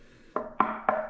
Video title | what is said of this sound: Audition seven pairs of popular bookshelf speakers, Part 1 of 2. Part 2 for sound comparisons | if you knock the cabinet this is much more solid